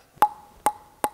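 A ball strikes a light, fast wooden Dynamic JC table tennis blade with synthetic fibers three times, each hit a sharp woody tock with a short ringing tone near 840 Hz. The blade gives a very hollow sound and strong vibrations, unlike the Shang Kun AC blade, where almost nothing vibrates. That hollow sound takes some getting used to but gives more ball feedback.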